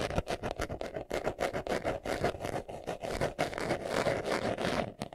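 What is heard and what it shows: Fingernails scratch quickly across a small, hollow, brown pebbled leather glasses case held in the hands. The result is a dense run of rapid, rough scraping strokes, fullest in the midrange with a bright, hissy edge on top, and no ringing after each stroke.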